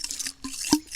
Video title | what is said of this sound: Suntour NEX E25 Forks Review & Service | You can hear the oil sloshing around inside